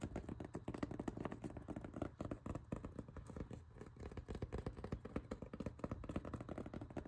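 Fingertips and nails tap and scratch along the ribs of a rolled blue ribbed foam yoga mat tied with black straps. The result is a quick, irregular patter of dull, low-heavy taps and soft scrapes, about four per second, each dying away almost instantly with no bright high end.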